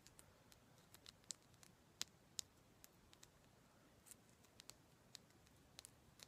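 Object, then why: Rose quartz crystal chunk. A palm-sized, solid chunk of raw pale pink rose quartz is tapped and scratched with long black acrylic nails. About 17 quiet, sharp, high-pitched clicks come at an irregular pace over a faint scratchy hiss. Each click stops almost instantly with no ring.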